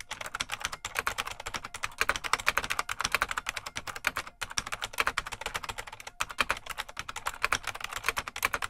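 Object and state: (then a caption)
Mechanical plastic keyboard being typed on. Fingertips of both hands type continuously on a full-size beige plastic IBM Model M mechanical keyboard with a hollow case. The result is a rapid, steady stream of sharp, clacky keystrokes that are bright and dry, with almost no low end or ring. Brief pauses break the typing near 0.8, 4.4 and 6.2 seconds.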